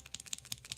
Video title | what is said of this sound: Live Art and Coloring Class ￼ | that's how you know you have to shake it if you can hear it it's like spray paint